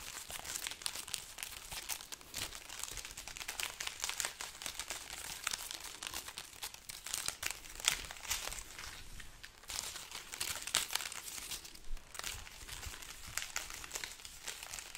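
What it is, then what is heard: Dried chili peppers, dry and brittle. A long hanging string of dried red chili peppers with a price tag is held up in one hand while the fingertips of the other rub and crumple the dry, hollow, brittle pods close to the microphone. A steady, bright, papery crinkling and crackling runs throughout, with sharper crunchy snaps poking out now and then and very little low end.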